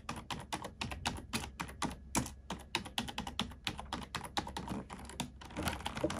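A black plastic computer keyboard is typed on with the fingertips and long nails of both hands. Around forty quick, dry clicks and taps follow one another in a steady run, each with a bright edge and a short soft thump underneath. Every keystroke dies away almost at once.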